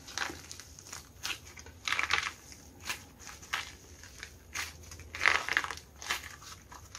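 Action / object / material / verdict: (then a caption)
scrape / plaster-coated soft clay lump / plaster, clay / none. Both hands squeeze, crush and tear a hand-sized, solid lump of soft blue foam clay coated in a cracked, painted plaster crust, pressing in with their fingertips. The crust gives off dry, bright crackling and crunching bursts that die away almost instantly, separated by brief quiet gaps. Pieces of the crust crumble away as the lump is worked.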